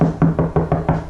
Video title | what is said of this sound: The BEST and CHEAPEST Way To Sound Deaden Your Car!! | not nearly as hollow sounding as it was this made a huge difference